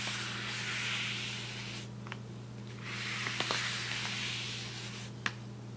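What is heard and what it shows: A wide paintbrush is swept across the surface of a large, flat brown kraft paper shopping bag with twisted paper handles lying on a table. Two long, bright, hissing brushing passes are heard, broken by a few small sharp ticks, over a steady low hum.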